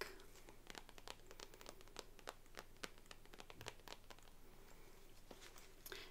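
Long nails tap and scratch the shiny surface of a pink glossy patent faux leather purse wallet, thin and flat, held in the hands. Many quick, dry clicks and scratches sound over a low steady hum, each dying away almost at once.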